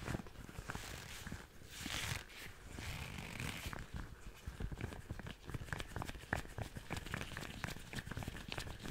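A pair of long pink rubber (latex) household cleaning gloves is worn on both hands, which rub, squeeze and pull at each other close to a furry-windscreened microphone without touching it. The result is a steady stream of soft rubbery squeaks, crinkles and snaps over a low, muffled rumble, with brighter sharp squeaks growing more frequent toward the end.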